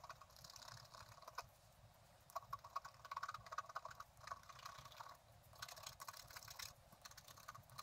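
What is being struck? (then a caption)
Black-coated scratch-art card scraped with a wooden stylus. A flat, black-coated scratch-art card about A4 in size lies on a table, held down with the left hand while a pointed wooden stylus in the right hand scrapes across its thin surface. Quiet, dry scratching comes in short bursts, with bright, crackly strokes and brief clicky ticks. There are softer pauses between the bursts.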